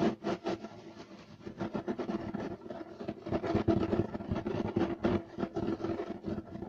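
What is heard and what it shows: Both hands scratch fast and hard with short nails and fingertips across a flat beige striped loop-pile carpet of sisal or wool-like weave lying flat on a solid surface. The result is a dense, irregular run of rough, papery rasps centered in the low mids, with short bursts that swell and fade and little bright content.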